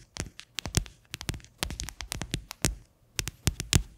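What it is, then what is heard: Hollow plastic container tapped with fingernails. The base of an upside-down, hollow, white faceted plastic container is tapped and scratched with long fingernails. A rapid, uneven run of short, dry clicks and taps comes in clusters, each with a hollow low thump under a bright, crisp edge. Brief scratchy rustles fill the gaps between them, and each hit dies away almost at once.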